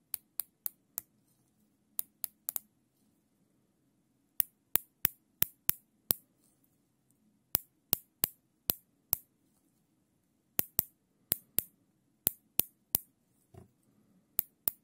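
A small ring of black nylon zip tie, held in gloved hands, has its tail ratcheted through the head in short bursts, giving 28 sharp, dry, bright clicks with almost no ring. The clicks come in quick runs separated by pauses, over faint low background noise, with a soft muffled thump near the end.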